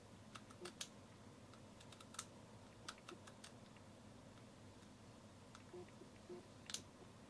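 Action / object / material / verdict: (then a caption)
tap / metal and plastic camera lens / metal / none. A small black vintage Hoya camera lens of metal and plastic, with a metal barrel and glass element, is held in both hands while fingertips and nails tap it and turn its rings. Quiet, scattered clicky taps with bright, very short attacks sound over a soft, steady low background.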